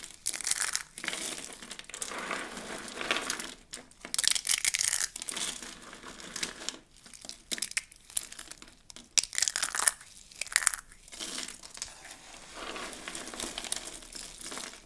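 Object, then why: Dry soap shavings. Fingers break and crush a layout of dry, rolled soap curls in pink, blue and white into a pile of fragments. The sound is a run of crisp, bright crinkling and crunching bursts with almost no low end, separated by brief quieter pauses.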